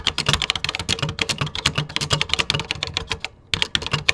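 Fingertips type quickly on a vintage computer keyboard with cream plastic keycaps, making a rapid run of about two dozen sharp, bright, dry clicks, each with a soft low thump underneath. The typing stops briefly for a short quiet gap near the end, then resumes with a few more keystrokes.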